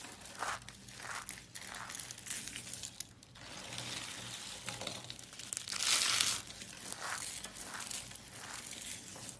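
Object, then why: Soap curls. Green striped soap curls are crushed between palms and long-nailed fingers into small crumbly flakes. Dry, bright scratching and crinkling crunches come in a steady series of short bursts, and the loudest burst falls near the six-second mark.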